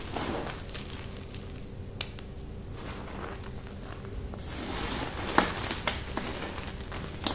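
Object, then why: Heap of gym chalk chunks and powder. Both hands with short painted nails grab, squeeze and crumble solid, dry chunks of white gym chalk (magnesium carbonate) into powder from a large heap of chunks and powder on a dark surface. The result is a steady, gritty, crackling crunch with a bright hissy texture, swelling louder and brighter around the middle. Occasional sharp little snaps cut through the crunching.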